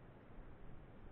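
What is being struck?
Nothing is struck.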